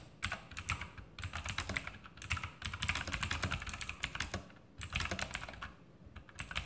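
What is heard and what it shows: Fingertips type quickly with both hands on a backlit E-Element Sharpshooter X2000 mechanical keyboard with plastic keycaps and Outemu blue clicky switches, resting on a desk. Dense, bright, sharp clicks come in rapid bursts, each over almost at once, with a light low thud under them and a few short pauses between runs of typing.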